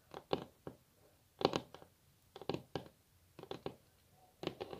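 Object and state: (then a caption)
Wooden tabletop tapped with fingernails. Long natural fingernails of both hands tap their tips on a flat, solid, glossy wooden tabletop, possibly laminate. About fifteen short, dry clicks land in irregular quick clusters separated by quiet gaps. Each click is a crisp mid-pitched tick that dies away almost instantly.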